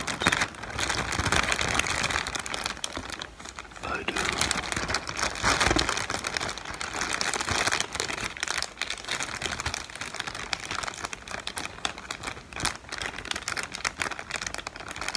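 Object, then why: Inflated plastic film air pillows. Inflated, hollow air-cushion pillows of clear plastic film with blue print are held in the hands and crinkled and squeezed with the fingertips. Dense, bright crackling and rustling runs continuously, with quick sharp snaps standing out from the steady crinkle.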